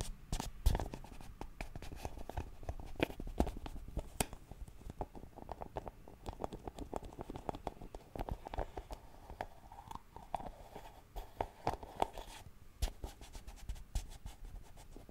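A small round white plastic Nivea cream jar is tapped and scratched with fingernails. The result is a steady stream of quick, dry clicks and soft scratching. The sound is quiet and mostly low and dull, and each tap dies away almost instantly.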